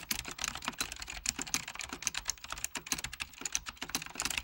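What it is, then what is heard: Plastic computer keyboard. Fingertips of both hands type quickly on a full-size beige plastic Apple Extended Keyboard II with mechanical key switches. The result is a fast, uneven stream of bright, crisp key clicks, each dying away almost instantly with very little low end.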